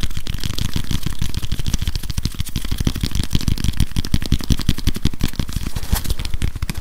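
A grey whiteboard eraser with a plastic body and felt pad is held in both hands close to the mic while fingers scratch and tap it. The result is a fast, continuous stream of short, dry taps with a deep, boomy low thump under a light, bright scratchy crackle.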